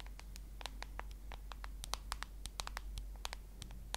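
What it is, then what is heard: Smartphone glass screen tapped with nails. Long nails tap and scratch across the glass screen and plastic case edge of a solid smartphone held horizontally. The result is a quick, irregular series of sharp, bright clicks with short scratchy strokes in between, over a steady low hum. Each tap dies away almost instantly.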